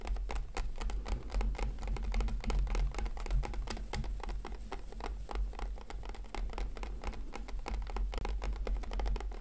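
Fingertips gently tap on a hollow, hand-sized clear plastic blister pack holding a FIMO product. The result is a steady stream of soft, quick, irregular plastic clicks and patters over a low constant hum.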